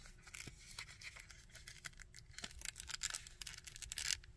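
Fingernails scratch and tap the sculpted coat and belt of a small plastic Red Skull action figure. The result is a dense run of quiet, bright, dry scratching and crinkly rasps, scattered with short clicking taps that stop instantly.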